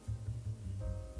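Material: Nothing is struck.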